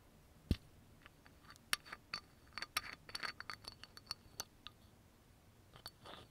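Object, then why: Small glass bottle with plastic cap. Fingernails tap and scratch the black cap and neck of a small dark brown amber glass oil bottle with a yellow label. A fast, irregular series of sharp, bright clicks follows a louder first tap, each dying away instantly without ringing. A softer scratching rasp closes the clip.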